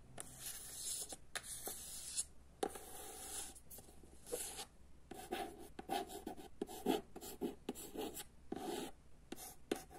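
Long nails tap and scratch the cream matte cover of a solid paperback copy of "Jedanaest minuta" held upright. The result is quiet, dry bursts of hissy, broadband scratching punctuated by short, sharp taps.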